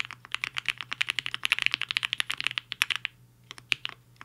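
Fingertips of both hands type on a HI-FINGER 7.5 black-cased 75% mechanical keyboard with a hollow case and white and pink plastic keycaps, resting on a desk mat. A fast, steady run of short, bright clacks centred around 2.5 kHz continues for about three seconds. It then breaks into a brief pause followed by a few scattered keystrokes.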